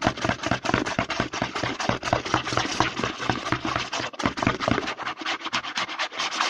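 Fingertips and short nails quickly scratch and rub the front label of a hollow, medium white plastic CeraVe lotion bottle with a green pump, held upright. The result is a fast, irregular stream of dry, bright scratching and rubbing strokes with a light hollow plastic body resonance and short decays.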